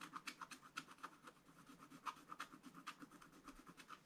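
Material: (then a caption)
Coated paper. A wooden stylus held in the fingers scratches the black coating off a thin page of a spiral-bound scratch-art book, revealing a colourful Easter bunny scene. A quick series of soft, dry scratching strokes repeats about four times a second. Each stroke has a raspy mid tone near 1.2 kHz with bright high hiss and almost no low end.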